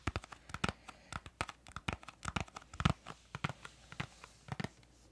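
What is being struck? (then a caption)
Small cardboard crayon box. Long nails tap rapidly on the faces of a small printed yellow-green cardboard crayon box as it is turned in the hands. A quick, uneven run of sharp, dry clicks with a papery crackle follows, each tap dying away almost at once.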